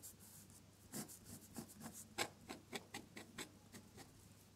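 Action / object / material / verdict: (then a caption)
scrape / drawing paper under a metal dip-pen nib / paper / none. A metal dip-pen nib scratches across a sheet of drawing paper while drawing red flower petals in colored ink. Quiet, bright, rasping strokes come in an irregular series of short scratches over a soft background hiss.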